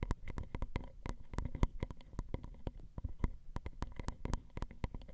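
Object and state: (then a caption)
Metal microphone capsules tapped with nails. Long acrylic nail tips tap and scratch the grooves of the ridged metal X/Y microphone capsules on a Zoom recorder. The result is a rapid, irregular stream of sharp, dry clicks and brief scrapes, each with a bright crack and a heavy low thump. The hits die away instantly with no ringing.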